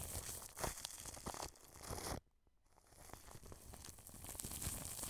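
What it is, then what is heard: Plastic cling film brushed over a microphone. A wide paintbrush brushes the wrapped underside of a white dome microphone with a mesh grille, covered in clear cling film. The result is a close, crinkly rustle with a bright, tearing texture and low rumbling thumps. The sound drops to near silence for about half a second midway, then the brushing resumes.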